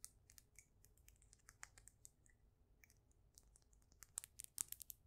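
A solid, faceted, polished stone polyhedron is held close to the microphone and tapped on its flat faces with long nails. About twenty quiet, bright, dry clicks come in an uneven rhythm with almost no ring, and the taps grow louder and denser near the end.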